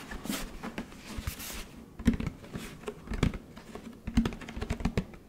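Fingertips tap and patter on a large orange plastic Tide detergent jug with a blue cap as it is turned in the hands. The quick, dull, hollow taps thud low with almost no ring, mixed with soft bright rustling from the plastic being handled.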